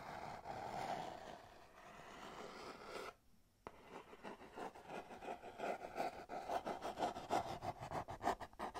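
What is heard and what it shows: Long nails scratch and scrape the sides and edges of a small, hollow, empty-looking kraft cardboard box held in the hands. A steady scratching with a hollow midrange tone runs for about three seconds, pauses briefly into near silence, then resumes as a rapid, uneven series of short scraping strokes, about three per second, through to the end.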